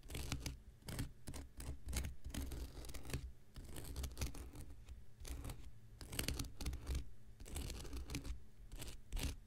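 An X-Acto knife blade scratches the surface and edge of a thick, hand-sized block of light blue porous cellulose sponge held in the hand. It makes quiet, repeated rasping strokes in short bright bursts over a steady low rumble. Each stroke stops dead with no ring.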